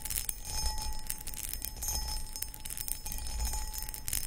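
Long acrylic nails scratch across the textured surface of a medium, hollow, empty cut crystal glass footed pedestal bowl. Bright, gritty scratching rasps continuously over a faint sustained ring near 800 Hz and a low rumble underneath.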